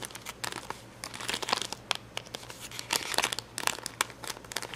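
Fingertips and nails pick and scratch at red and yellow acrylic rhinestones on the clear plastic backing of a rhinestone sticker sheet. The result is a quick, irregular run of bright, crinkly plastic clicks and scratches with no low rumble, and each tap stops almost instantly.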